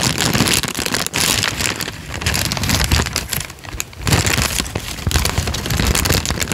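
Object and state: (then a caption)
Crinkled paper sheet. A thin peach paper sheet held flat above the microphone is crinkled and flexed with the fingertips. The result is a dense, continuous crackle of bright, rustling snaps over a low, rumbling body, with brief quieter dips before the crinkling swells again.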